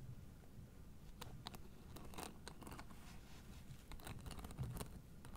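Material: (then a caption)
Plastic. Long nails scratch the white plastic spike discs of a blue fabric acupressure mat held flat, making quiet, sharp, crackly scratching and clicking bursts. The bursts come irregularly over a steady low rumble.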